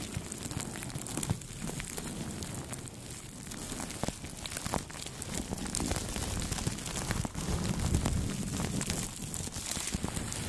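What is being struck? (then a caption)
Plastic cling film wrapped on a microphone. Two makeup brushes sweep across clear plastic cling film wrapped over a Blue Yeti microphone. The result is a steady, close crinkling and rustling with a heavy low rumble, soft crackles, and a few sharper pops. It continues throughout at an even, moderate level.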